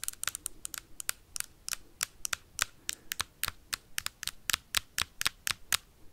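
Metal paperclips rapidly tap and scratch a hard plastic Nintendo Switch console with a red Joy-Con attached, making about 29 quick, sharp clicks. Each hit is bright and dry with almost no ring or low end, and soft scratchy noise fills the gaps between them.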